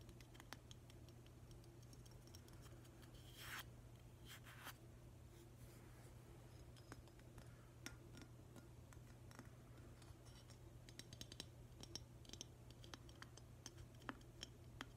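Fingernails tap and scratch the glossy surface of a hollow, glazed green ceramic octopus vase, its base with a black stopper facing up. Many quiet, short, bright clicks and scrapes sound over a steady low hum, with a louder brushing scratch early on.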